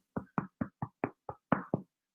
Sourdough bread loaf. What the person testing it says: tap on it and it should make a nice hollow sound